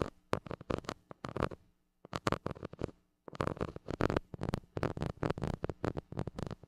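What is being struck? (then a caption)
Metal mesh microphone grille scratched with a plastic stick. A white plastic stick scratches the hollow metal mesh grille of a small gold mini microphone. Quick clusters of close, raspy scratching strokes crackle up into a bright, high hiss, broken by two short silent pauses, over a faint steady low hum.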